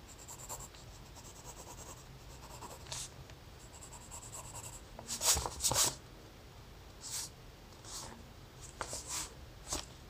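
A hand sketches a round head outline with a graphite pencil on thin lined notebook paper. Quiet, bright scratching strokes come in short, irregular bursts, with the loudest pair around the middle of the clip, over a faint low hum.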